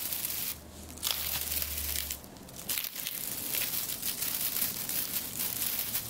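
Fingertips grasp and rub through a large bunch of dried eucalyptus stems with many small, round, papery leaves, producing dense, bright crinkling and tearing rustles that sit mostly in the high frequencies. A faint low hum runs underneath during the first couple of seconds while the crackling continues steadily throughout.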